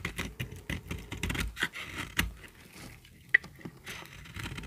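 A small, solid, peach-colored bar of dry soap is held in the hand and shaved with a metal utility-knife blade. A series of short, dry scraping cuts sends flakes crackling off, with gritty high hiss and one sharp click near the end.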